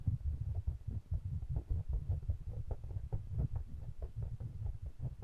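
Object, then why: Pair of small metal-bodied condenser microphones. Fingertips rub and tap the metal bodies of two small pencil condenser microphones with mesh grilles, held in the fingers. The result is a steady stream of soft, deep thumps and muffled rumbling centered around 94 Hz, with short brighter clicks mixed in and almost no high end.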